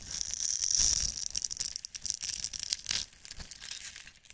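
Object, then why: Bar of soap. A metal utility-knife blade scrapes and shaves the surface of a solid rectangular green-and-white striped bar of soap held in one hand, grating off soap flakes. The sound is a bright, crisp scraping hiss made of rapid, irregular strokes with a faint high whine, loudest early on and fading toward the end.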